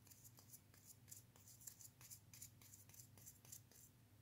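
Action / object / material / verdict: scrape / plastic wall switch frame with metal springs / plastic / none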